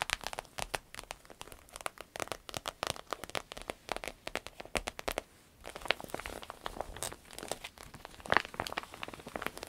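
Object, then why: Vinyl-coated fabric purse. Long red nails scratch and squeeze the flap and body of a soft, hollow green paisley purse made of fabric with a glossy vinyl coating, crinkling it. The result is a dense run of quick, dry, bright crinkles and clicks with almost no low end. A brief quiet gap just after five seconds is followed by a busier, hissier stretch of crinkling with a sharp loud crackle near the end.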